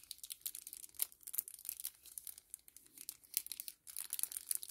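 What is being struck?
Small laminated kraft paper-plastic sachet.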